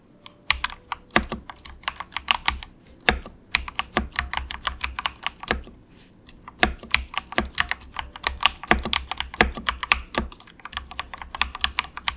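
Both hands tap quickly with their fingertips on a budget compact 68-key wireless mechanical keyboard with grey and orange plastic keycaps and a hollow plastic case resting on a desk mat. Bright, short plastic clacks come in rapid bursts with brief pauses, each key tap dying away almost at once.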